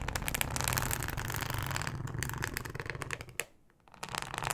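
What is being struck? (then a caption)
Thin ribbed plastic cutting mat. Long acrylic nails scratch across a thin, flexible, solid yellow plastic cutting mat with a ribbed texture, producing a dense, rapid stream of bright, crackly scrapes and clicks over a low, rumbling undertone. The scratching runs steadily and fairly irregularly, drops to near silence for about half a second, then resumes.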